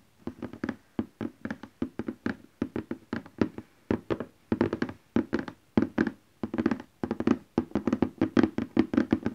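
Fingertips and nails of both hands tap rapidly on a large cardboard printer box lying flat. Dozens of short, dry, hollow taps come in quick clusters, with a low-mid thump around 300 Hz and a faint bright click from the nails. Each tap dies almost instantly.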